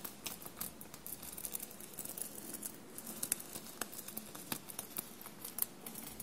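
Short blue-painted fingernails scratch and rub a dark blue soft shirt bunched on a table and covered in small silver paillette studs. The result is a quiet, steady stream of crisp, bright ticks and scratchy rustles with a faint low hum underneath.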